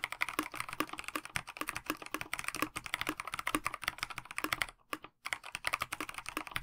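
Fingertips of both hands type steadily on a KBD67 Lite 65% mechanical keyboard with a plastic case, translucent backlit PBT keycaps and stock linear switches. The rapid stream of short, bright clacking key taps, about 46 in all, dies away almost instantly after each strike. It pauses briefly near the five-second mark before the typing resumes.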